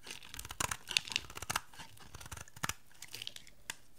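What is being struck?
Bar of soap shaved with a knife.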